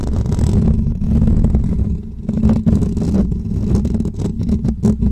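Short natural nails scratch the hollow metal mesh grille of a pink microphone, giving a dense, boomy, low rumbling scrape with quick scratchy bursts that flicker into brighter crackle. Near the end, one hand grips the grille and scratches its side, adding sharper scraping strokes over the steady low rumble.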